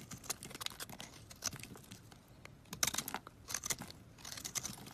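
A box-cutter blade carves and shaves a solid coral-red bar of soap held in the palm, scattering flakes. Quick, dry scraping crunches and crisp crackles come in uneven bursts, bright and high with little low end. Each stroke cuts off almost at once, with no ring.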